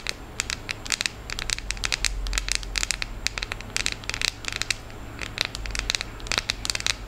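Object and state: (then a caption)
Chocolate bar. Long acrylic nails tap and scratch across the segmented squares of a solid, unwrapped, hand-sized milk chocolate bar held in both hands. The result is a rapid, irregular stream of sharp, bright clicks and scrapes that stop instantly, over a faint steady low hum.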